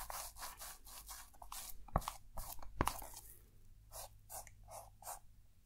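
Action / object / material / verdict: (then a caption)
scrape / foil-wrapped box coated in shaving foam, scratched with a wooden stick / aluminium foil / none. The pointed end of a thin wooden stick scratches and writes letters into shaving foam coating a small, likely hollow, hand-held box wrapped in crinkled aluminium foil, while the other hand holds the box. Short, bright, scratchy strokes follow one another at an uneven pace, with two sharper ticks partway through over a faint low steady hum.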